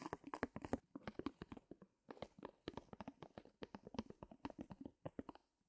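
Fingertips of both hands rub and scratch the taut fabric on the back of a small stretched canvas in a wooden frame. The result is a quiet, rapid run of short, dry scratching bursts with a drum-like low-mid body and bright edges. The scratching comes in clusters separated by brief pauses.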